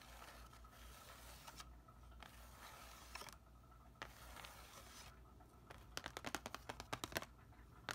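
Fingernails scratch and then tap on the surface of a thin, flat, grey printed cardboard backing card from a plant label package lying over a soil tray. Soft, breathy scraping bursts give way to a quick run of sharp, dry, bright taps, with a faint low hum underneath throughout.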